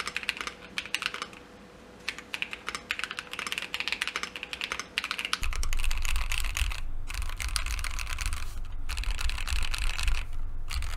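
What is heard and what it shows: Fingertips type continuously on a Keychron Q2 mechanical keyboard with JWK linear switches, a dark aluminum case and white and mint plastic keycaps, resting on a desk mat. It gives rapid, irregular, bright clacking key presses. About halfway through, a steady low rumble joins underneath the typing and continues to the end.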